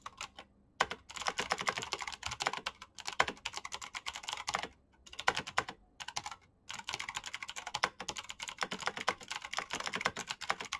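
Fingertips with painted nails type fast on a black plastic backlit mechanical keyboard with green clicky switches. Dense bursts of sharp, bright clicks centered around 1 kHz come in quick runs separated by brief pauses. Each click dies away almost instantly.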